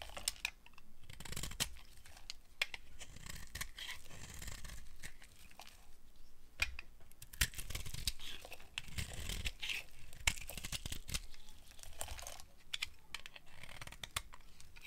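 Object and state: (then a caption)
Dry bar of soap being carved. A solid, opaque, dry yellow soap bar held in the hand is carved with a metal blade, producing crumbly shavings. Dry scraping and crunchy tearing sounds repeat throughout, with many short, sharp clicks and crackles over a steady scratchy rustle.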